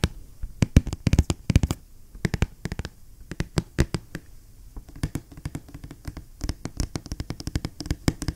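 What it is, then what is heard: Cardboard box tapped with fingernails. Fingertips and nails tap and knock along the edge and face of a large, hollow, black printed cardboard box for an ASRock motherboard. The result is a quick, irregular run of dozens of short, dry taps with a hollow low thud and bright clicky edges, dying away almost instantly, with quieter scratchy patter between the sharper knocks.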